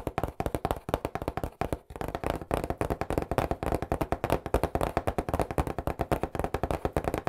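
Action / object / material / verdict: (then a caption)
tap / cardboard pizza box / cardboard / none. An Angelo's cardboard pizza box, held on its edge beside the mic, is tapped fast with fingertips. It gives 48 rapid, dull, hollow thuds, mostly low with little brightness. Each tap dies away almost at once in a steady, continuous patter.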